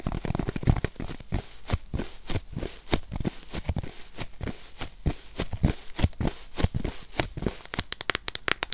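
A thin, hand-width white polyethylene foam sheet is held flat in front of the mic and scratched and tapped with long nails. The result is a steady run of short, dry, crackly taps and scrapes, mostly low and thuddy with bright clicky edges. It ends in a quicker burst of crisp taps.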